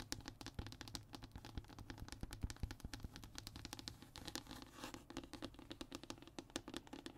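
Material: Hardboard.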